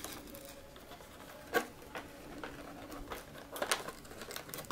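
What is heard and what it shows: A small rectangular holographic cardboard box with a clear plastic window, holding a packaged mermaid toy set, is held in both hands and turned over while fingertips and short nails tap and rub its surface. Soft, dry scratching and light crinkly tapping run throughout, broken by a few sharper, brighter clicks that die away almost at once. The result is quiet, close and dry, with little low end.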